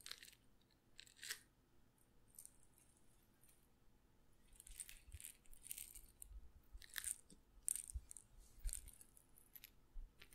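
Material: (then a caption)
Glass. A small glass pepper grinder jar with a black and red plastic grinder cap, partly filled with peppercorns, is held in one hand close to the mic and shaken or twisted. Quiet bursts of bright, crisp rattling and crackling come and go with short pauses between them, over a faint low rumble.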